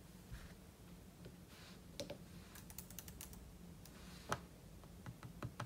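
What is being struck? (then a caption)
Laptop keyboard with plastic keys. Fingertips tap quickly and unevenly on the plastic keys of a silver aluminum laptop keyboard, with an open book lying untouched beside it. The quiet, short clicks sit over a steady low hum, with a few sharper, brighter keystrokes standing out.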